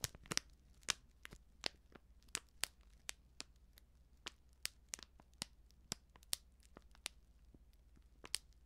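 Long nails scratch and crinkle a flat, sealed plastic Betty Bossi Flädli instant soup sachet filled with dry contents. The result is a steady run of sharp, bright crackles and ticks over a faint low hum, all at a quiet level.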